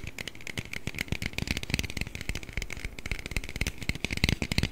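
An aluminium Red Bull can, held behind the microphone and partly hidden, is tapped and scratched with the fingers. Rapid, dense, crackly taps and scratches blend into a continuous clatter, with dull low thumps and a bright metallic ring around 2 kHz. Each tap dies away almost instantly.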